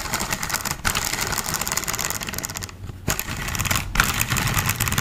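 A green and black hollow plastic toy car is held upside down close to a microphone while fingertips flick its wheels and tap and scratch its plastic chassis. Fast, irregular hollow clicks and bright scratchy rattling run almost continuously, with brief dips in the activity around the one-, three- and four-second marks.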